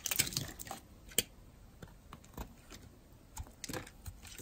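A metal blade scrapes shavings off the edge of a solid, dry blue-and-white striped bar of soap held in a hand with long nails. About ten short, crisp, bright scraping crunches come at irregular intervals, each cutting off almost at once. Quiet stretches fall between them.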